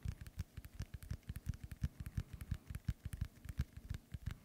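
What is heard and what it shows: Fingernails tap the surface of a hollow, inflated synthetic leather soccer ball held close to the mic. About thirty quick, deep, hollow thumps fall in an uneven rhythm, each dying away almost instantly, with a faint bright click on some taps.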